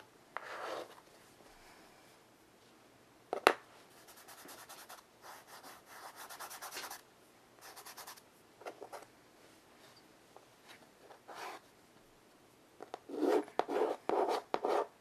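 Chalk draws and shades on a solid wooden-framed chalkboard, and fingers rub the chalk into the board surface. Soft, dry, scratchy strokes come in irregular bursts, with one sharp tap early on. A run of louder, brighter scraping strokes closes the clip.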